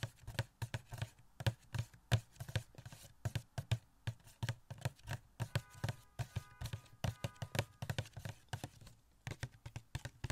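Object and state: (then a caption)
Small cardboard box with plastic window, tapped. Fingertips rapidly tap a small, hollow cardboard Catwoman Funko Pop box with a plastic window and the figure inside, held close to the mic. Dozens of quick, dull, low thumps die away almost instantly, with little bright content. A faint thin ringing briefly sits under the taps around the middle of the clip.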